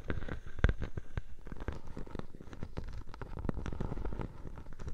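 A clear plastic bubble wrap sheet resting over a microphone is scratched by long nails, then lifted and crinkled. The result is a dense run of sharp crackles, scratches and pops over a heavy, muffled low rumble, with no pause in the rustling.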